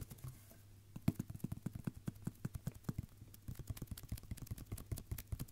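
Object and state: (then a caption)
Wrapping paper roll, drummed. Fingertips tap and drum on a red and silver roll of wrapping paper, a hollow tube held horizontally in both hands. Around thirty quick, soft, hollow low thumps follow one another in a steady patter, each dying away almost at once, with a brief pause just past the midpoint before the drumming resumes.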